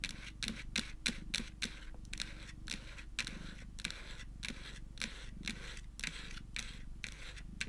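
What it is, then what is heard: Plastic phone case tapped and scratched with nails. Long acrylic nails tap and scratch the back of a white Hello Kitty printed plastic phone case lying face down on a dark wooden table. A steady run of quick, sharp, bright clicks with very short ring mixes with soft scratching over a low, constant hum.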